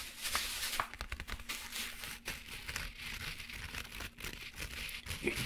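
Fingertips rub and scratch the fabric cover of a closed black padded zippered laptop accessory case held upright. The result is a steady, bright, dry scratching and rustling texture with quick crinkly grains and a faint low rumble underneath.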